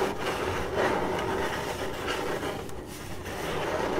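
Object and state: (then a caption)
Cardboard box scratched with fingernails. Long acrylic nails on both hands scratch the side of a hollow, printed corrugated cardboard box, making a continuous dry, raspy scraping. The irregular strokes blend into a steady, fairly loud rustle centered in the midrange, with little deep bass and only a faint bright edge.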